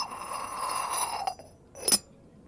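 A Yixing clay teapot lid is tapped, ringing out with a bright, clinking ceramic tone that dies away almost at once. Two taps are heard, the second louder. It is rated an eight.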